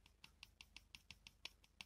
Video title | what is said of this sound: Подшипники, как смазать правильно, с подробностями/Bearings, how to grease properly, with details | nó mềm, cao su, đó là sự khác biệt.